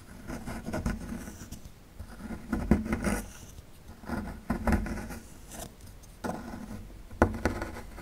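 A small metal chisel tool scrapes a small, solid rectangular plaster block with a dinosaur relief held in one hand, breaking off plaster crumbs. Repeated short bursts of gritty scraping and scratching come in uneven strokes, with a dull low body and bright crackling edges. Crumbs patter off between the strokes.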